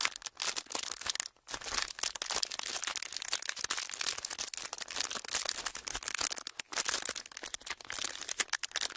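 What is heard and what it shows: A thin, clear, ridged plastic packaging sheet is squeezed and crinkled between fingers. It makes dense, bright crackling and crinkling with almost no low end, running steadily for about nine seconds with brief pauses near 1.4 and 6.7 seconds.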